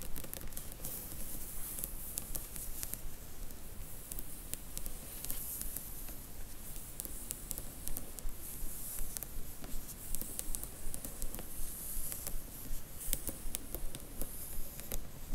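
Long nails tap and scratch along a row of paperback spines in a cardboard box set of Harry Potter books, catching on the glossy card covers. Quick, fairly steady taps of about 162 per minute click brightly over a soft, continuous low scratching. The taps are short and dry, dying away almost at once.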